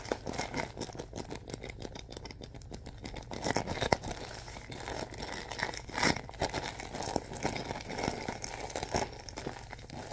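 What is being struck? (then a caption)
Thin plastic film bag filled with soft stuffing. A large, pillow-sized bag of thin clear plastic film filled with soft white stuffing is gripped and squeezed with fingertips and palms. The film gives off a continuous run of soft, dense crinkling and crackling, with brighter bursts around the middle and toward the end.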